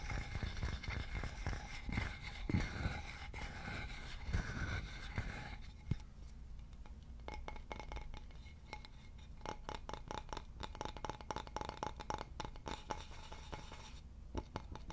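Fingertips tap and scratch the surface of a solid, polished wooden board with a hole in its center, held close to the microphone. Soft scratching fills the first few seconds, then gives way to a steady run of quick, dry, low-heavy taps that die away almost instantly.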